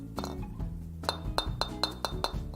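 A metal golf driver head is tapped seven times in quick succession, each tap giving a short, crisp, bright clink with a high ring that dies away almost at once. The sound is lively rather than dull, over a low background hum.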